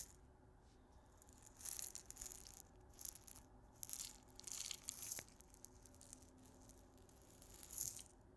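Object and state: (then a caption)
Glass grinder full of salt crystals. A small clear glass salt grinder with a black cap, full of pink salt crystals, is held horizontally and shaken and rotated by the fingertips. The loose crystals rattle in soft, bright, hissing bursts that rise and fade between quiet pauses.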